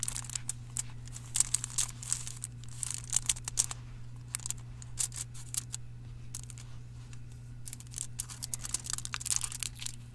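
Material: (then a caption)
Aluminium foil. Fingertips press, scratch and crinkle the surface and edges of the thin silver aluminium foil wrapped around a solid dark chocolate bar lying on a towel. Bright, crisp crinkles and scratchy bursts come in irregular clusters over a steady low hum.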